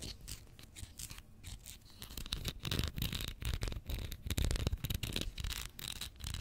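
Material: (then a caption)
Plastic. Long fingernails tap and scratch a small Pritt glue stick, a capped plastic tube filled with glue, held in the fingers and turned sideways near the end. Quick, irregular dry clicks and taps mix with bright, hissy scratching and soft low thuds, and each sound dies away almost instantly.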